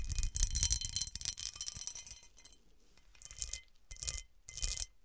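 Long nails and fingertips scratch and tap the star-cut facets of a large, hollow cut-crystal glass serving dish turned upside down. A dense run of bright, gritty scratching and clicking, with faint glassy ringing tones, fills the first two seconds and then thins out. Three short bursts of scraping and tapping follow, each separated by quiet.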